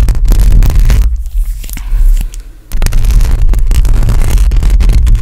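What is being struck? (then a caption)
Metal mesh microphone grille. Long acrylic nails on both hands scratch across a hollow metal mesh microphone grille. The result is a dense, boomy scraping rumble concentrated in the low end, with quick bright scratch streaks on top. The sound thins out to a quieter, lighter scratching in the middle before returning to full, continuous scraping.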